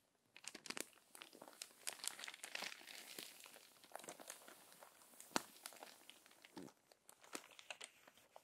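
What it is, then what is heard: Crumpled paper magazine. Fingertips and long nails rub across the wrinkled pages of an open, crumpled paper magazine, then turn a page. Dense, bright crinkling and crackling fills the clip, with many sharp, quick-fading snaps over a soft rustle and almost no low end.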